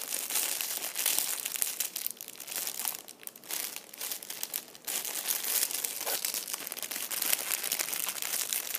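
A small, thin, clear plastic bag partly full of red-and-white plastic candy wrappers lies on a chair seat and is pressed and crinkled by fingertips and a whole hand. It makes a dense, bright crinkling with no low end, quieter in stretches around the middle before becoming steady and loud again.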